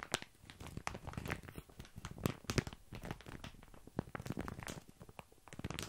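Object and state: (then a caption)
Plastic bag of dry small pasta. Fingertips and nails scratch and squeeze a mid-sized sealed plastic bag full of dry tiny pasta held close to the mic, so the pasta shifts inside. The result is a dense run of quick, sharp crinkles and crunchy rustles with soft, low shuffling beneath, as bright clicks and scrapes spike in and out over a steady grainy texture.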